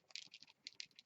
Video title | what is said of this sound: Bland Designs- Steampunk Scrapbook Layout | there's a little ball in there you can hear it mixing